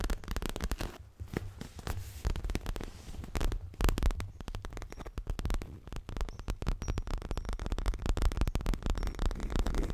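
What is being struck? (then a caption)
Stuffed leather cushion. Fingertips and nails rapidly tap and scratch the lower front of a stuffed, dark grey leather throw pillow. The result is a continuous stream of soft, dull thumps, mostly low, with faint scratchy texture over the top throughout.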